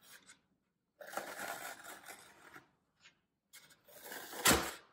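Fingertips press into and crush the top edge of a brick-sized solid block of green phenolic floral foam lying on a white table, leaving dents and crumbs. Short bursts of dry, crisp crunching and crackling rise and fade between quiet gaps. The last burst is the loudest, ending in a sharp, bright crackle.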